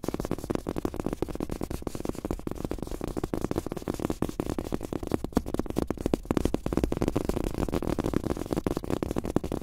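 Bare fingertips of both hands tap quickly on a large, flat, thin black desk mouse pad printed with a world map, with a cloth surface on a rubber base. A dense, steady stream of soft, muffled thuds centers in the low-mids, with almost no high-frequency content and no ring after each tap.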